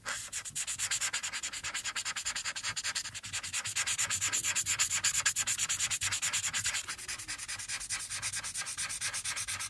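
A hand with long painted nails colors a coloring page on a thin sheet of white paper lying flat, using one green felt-tip marker throughout in fast, dense strokes. The tip scratches and rubs across the paper in a steady, bright, hissing rhythm of roughly three strokes per second, with almost no low end. The strokes swell slightly louder in the middle before settling back.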